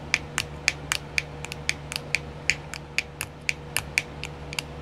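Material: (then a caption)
Plastic. Long nails tap a small, round, clear plastic nail art compartment wheel that is filled. About 20 sharp, bright plastic clicks come in a quick, uneven rhythm, each dying away almost at once. A faint steady low hum sits underneath.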